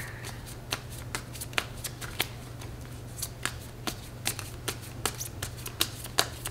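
A standard deck of coated paper playing cards with blue patterned backs is held in both hands over a glass table, split and shuffled with long red-painted nails and fingertips, riffling and bridging the cards. Sharp, bright card snaps and flicks land in an irregular run over a soft papery rustle, with a steady low hum underneath throughout.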